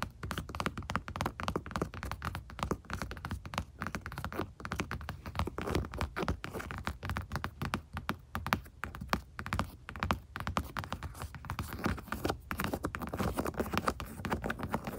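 Long acrylic nails with rhinestones tap and scratch the padded, stitched leather (likely synthetic) lid of a truck's center console armrest, with its grained surface seen close up. A steady stream of rapid, soft, dull taps and thunks blends with light scratching. Each hit dies away almost instantly, leaving a muffled, low-heavy patter.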